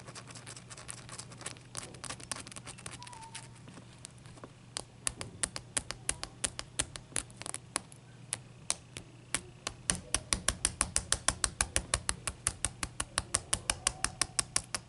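Long nails scratch and tap the sides of a single solid block of clear ice resting on a towel. Faint scratching with sparse sharp clicks builds into a fast, uneven run of crisp, bright taps over a low steady hum, each tap dying away almost instantly.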